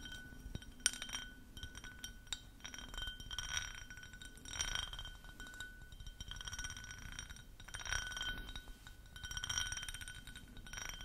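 An empty, clear ribbed drinking glass cup is held sideways in front of the mic and tapped with long nails. It gives quiet, bright clinks with a faint glassy ring and soft scratchy brushing in between, swelling in small clusters.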